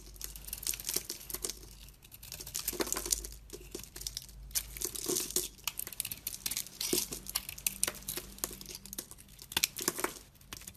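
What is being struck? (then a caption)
Coated bar of soap scraped by a knife blade. A utility knife blade peels and scrapes curls and chunks from a solid oval white bar soap with a pink and black painted coating, held in the hand. It makes a steady run of crisp, bright, crinkly scrapes and small crunches with quick bursts. The sound is dry, with very little ring or low end.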